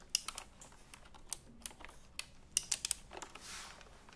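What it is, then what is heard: Typewriter-style keyboard with round plastic keycaps. Fingers tap and press the round plastic keycaps of a retro typewriter-style computer keyboard held upright in front of the mics. About ten sharp, bright clicks come in an irregular pattern and die away almost instantly, with a softer, hissy brush of sound near the end.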